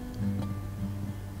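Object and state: Nothing is struck.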